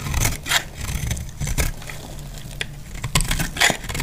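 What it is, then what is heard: Dry soap bar being shaved. A metal utility blade cuts shavings from a solid, dry, off-white soap bar. Crisp, bright scraping rasps come in repeated bursts over a steady low rumble, each stroke ending in a short dry crackle.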